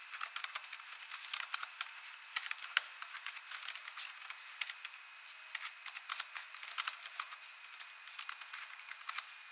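A hand with long nails and rings types on an ASUS laptop keyboard with plastic keys, tapping the keys. The result is a quick, irregular stream of light, bright clicks and taps that stop dead, with no low end and a faint steady high tone underneath.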